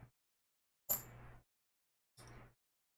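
A coin from a coin roll, likely a 1980 coin, is dropped twice. Each drop gives a sharp, bright click with a brief high ring, followed by a short rattle, and the second is softer than the first. The dull, quickly fading ring sounds dead, meaning the coin is not silver.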